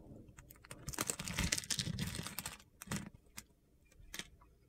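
A metal utility knife blade slices and scrapes small cubes off a partly carved solid yellow bar of soap held in the hand. A dense run of crisp, gritty scraping and crunching builds in the first half, then gives way to a few sharp, bright clicks and cuts with quiet gaps between them.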